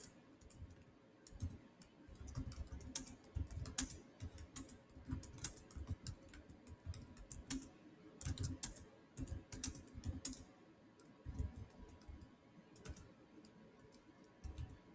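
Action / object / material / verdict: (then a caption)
tap / plastic laptop keyboard / plastic / none. Fingertips type rapidly across the solid black plastic chiclet keys of a silver Samsung laptop keyboard. Bursts of quick, dry clicks and clacks come in uneven runs with brief pauses, each keystroke short with a soft low thump under a bright tick.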